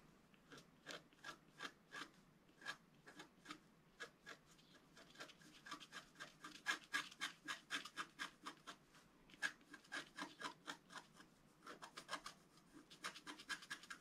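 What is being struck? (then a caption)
Wax-coated scratch-art paper sheet scratched with a wooden stylus. A wooden stylus scratches strokes across the upper area of a flat, wax-coated scratch-art paper sheet, about A4 in size, held by the left hand. About 55 short, dry, bright scraping strokes follow one another at an uneven, quick pace, each stopping almost at once with no ring. The strokes grow denser and louder in the middle and toward the end.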